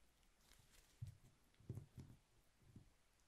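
Fingertips press and roll a small, thick candle of rolled honeycomb-textured beeswax sheet, with solid layers and a cotton wick, against a paper-covered table. About five soft, sticky clicks rise out of quiet background hiss. The clicks are low and dull, each ending almost at once.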